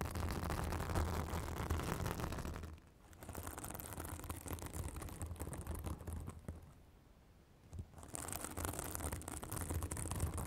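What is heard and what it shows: A white, fibrous synthetic bath sponge held on a microphone is scratched with long acrylic nails, making dense, crackly scratching and rustling over a heavy low rumble. The scratching eases off briefly near 3 seconds and again between about 6.5 and 8 seconds before resuming at full strength.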